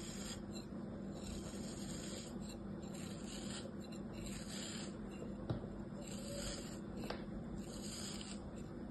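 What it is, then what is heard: Kinetic sand being sliced. An orange utility-knife blade makes parallel slicing and scraping cuts through a solid, palm-sized star of molded kinetic sand held in the palm. A steady, quiet, grainy rasp and rub continues throughout, with soft bright swishes on each stroke and a couple of sharper ticks as the blade catches.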